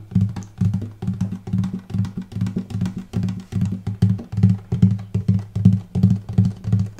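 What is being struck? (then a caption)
Spruce top of a hollow wooden acoustic guitar. Fingertips and nails tap the light spruce top of a hollow wooden acoustic guitar on the upper bout near the bridge, without plucking the strings, though they may ring slightly. A quick, loosely rhythmic run of soft, woody knocks gives a warm, low body resonance that rings briefly after each tap, with little bright content.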